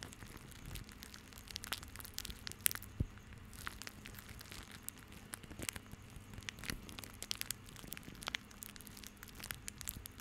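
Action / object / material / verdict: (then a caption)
scrape / bundle of plastic rope / plastic / none. A small crumpled bundle of white plastic rope is squeezed in both hands over the mic, producing quiet, continuous crinkling and scattered sharp, bright crackles. A faint low hum runs steadily underneath.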